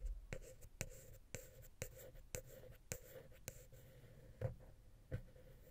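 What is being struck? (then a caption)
Metal microphone capsule touched with a wooden pick. A wooden ear pick scratches and taps the small, hollow silver metal X/Y microphone capsule on a Zoom H6. Soft, close scratching runs under a series of sharp, short taps, each a low thud with a bright click and a faint hollow ring.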